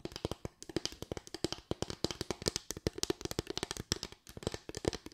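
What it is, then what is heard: Bamboo slatted board. Long white acrylic nails tap rapidly on a small board of parallel bamboo slats with gaps, making about 39 quick, dry, hollow knocks in uneven bursts. Each tap is a short woody click with a mid-pitched tone and a bright edge that dies away almost instantly.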